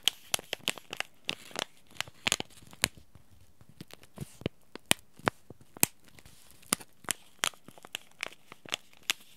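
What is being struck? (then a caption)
Paper-foil laminate tea bag sachet. Fingertips and short nails crinkle and rub a small, flat white and teal Yogi Tea sachet made of paper-foil laminate that holds a tea bag. About twenty sharp, bright crackles and crinkles come in irregular bursts over a quiet background, each stopping almost instantly.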